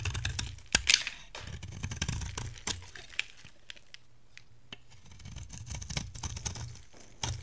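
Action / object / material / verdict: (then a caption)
scrape / bar of soap cut with a metal blade / soap / none. A metal cutter blade shaves thin curls off the surface of a dry, solid bar of soap with an orange core and green shell, held in hand. Bright, crisp scraping and crackling strokes come one after another over a low, soft rumble, with short sharp clicks and little ring after each.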